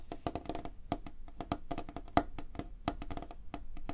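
Fingertips and nails tap rapidly on a flat, solid, light wooden tabletop. The result is a quick, uneven run of short, dry knocks and clicks with a woody tone around 700 Hz, each dying away almost instantly.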